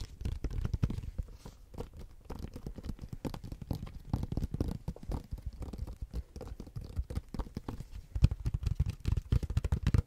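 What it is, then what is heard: Tablet in silicone rubber case. Fingertips and nails tap and scratch the back and edge of a tablet in a blue silicone rubber case, held horizontally. The result is a steady stream of rapid, soft, muffled thuds, deep and dull with almost no brightness, each dying away instantly, with faint scratchy textures between them. The taps grow louder and punchier over the last couple of seconds.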